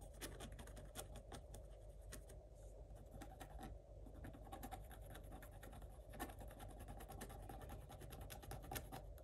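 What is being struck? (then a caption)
Coated scratch-art paper scratched with a wooden stick. A wooden stick scratches quick, short strokes across a coated scratch-art page in a spiral notebook. Soft, dry scratching bursts come in a rapid, irregular rhythm over a steady low hum. The whole clip stays quiet.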